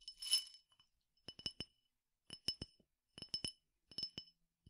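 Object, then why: Glass tumbler partly filled with peppercorns. A clear glass tumbler partly filled with peppercorns is tapped on its side and rim with fingertips and nails. A brief rustle of the grains opens the clip, followed by quiet clusters of sharp, bright glass clinks with a high ring that dies away almost at once.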